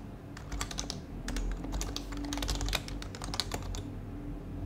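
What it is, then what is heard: Plastic mechanical keyboard being typed on. Fingertips tap steadily on a white compact HHKB mechanical keyboard with plastic keycaps and a plastic case while typing code. The result is a quick run of short, bright plastic clicks with almost no ring, over a steady low hum.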